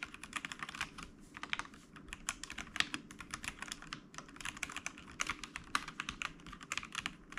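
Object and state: Plastic mechanical keyboard.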